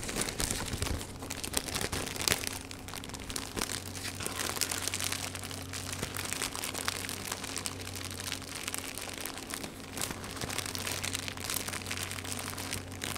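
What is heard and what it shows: Fingertips crumple and scrunch a loose, thin, clear plastic cellophane film, just removed from a small patterned cardboard box, in both hands over a knitted mat, with the box resting in the background. The result is a dense, continuous, bright crinkling and crackling at a fairly even level, over a steady low hum.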